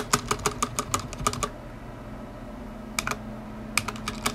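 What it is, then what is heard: Mechanical keyboard typing. Fingertips tap the keys of a stock black tenkeyless mechanical keyboard with plastic ABS keycaps, a metal top plate and linear switches, resting on a white desk. About seventeen short, bright clacks come in quick runs: a burst in the first second and a half, a pause, then two more brief runs. A low steady hum sits underneath the whole clip.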